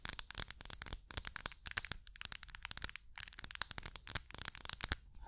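A small, hollow amber glass candle jar is held in the hand while long acrylic nails tap and scratch its surface close to the mic. The result is a quiet, continuous run of rapid, crisp clicks and scratchy taps with a bright, hissy edge and almost no ring after each hit.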